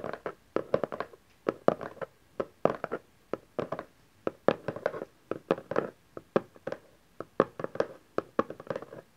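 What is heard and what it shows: A small cardboard camcorder box resting on satin fabric is held and tapped along its edges, then tapped on its top face with fingertips and nails. It gives dry, hollow, mid-pitched taps that die away almost instantly. They come in quick bursts and clusters separated by short pauses, with little low end.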